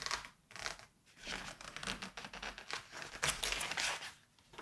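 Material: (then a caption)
Paper. Pages of a thick, glossy September 1986 Vogue fashion magazine are flipped and bent while fingertips with painted nails hold it open. Bright, crisp crinkling and rustling of the paper come in uneven bursts, with brief quiet pauses between page turns.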